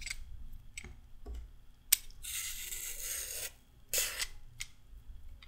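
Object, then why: Raw carrot and metal peeler. A short raw carrot is peeled with a pink-handled metal-blade peeler, making quick, bright scraping strokes. One long, sustained rasping stroke sits in the middle, over a quiet low background rumble.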